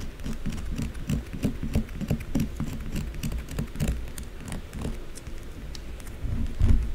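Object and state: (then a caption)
Bar of soap. Long blue acrylic nails scratch and tap quickly along the side of a solid white bar of soap standing on its edge. The result is a dense, uneven patter of dull, low scratches and soft taps that stop dead with no ring, and it grows a little louder near the end.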